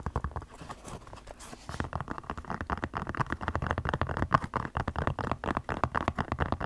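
Long black nails scratch and tap the upper of a single white Crocs clog made of molded foam resin with ventilation holes. A dense stream of quick, dull scratching taps sits mostly in the low and mid range with almost no high content, growing louder and busier after the first couple of seconds.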